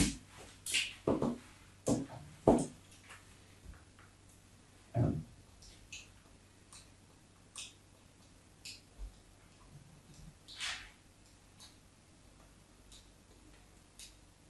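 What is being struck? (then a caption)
Soap bar scratched with a metal knife tip. A solid white embossed bar of soap, held on a table, is scored with the tip of a metal craft knife. A series of short, dry scratching strokes comes in irregular bursts, with the loudest ones early on. Later strokes are fainter and brighter, over a quiet background.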